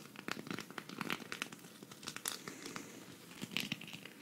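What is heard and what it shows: Long red fingernails scratch across the sequins of a flat, green, hand-sized sequin cactus patch, thin and solid, held up in one hand. The result is a quiet, dense run of bright, crinkly scratches and sharp little clicks that stop instantly with no ring.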